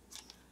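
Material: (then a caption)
Cardboard. A narrow, self-sealing cardboard shipping box packed with shoes is shaken, giving two quick, faint, high-pitched scuffs. The shoes don't shift or rattle inside, so the tight fit leaves less room for damage than a wider USPS shoe box.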